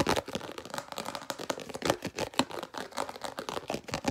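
A small, translucent red round plastic food storage lid is held in one hand and tapped and scratched fast with the fingernails of the other hand. The result is a rapid, uneven stream of short, dry clicks and scratchy crinkling with a bright edge, each tap stopping almost at once with no ring.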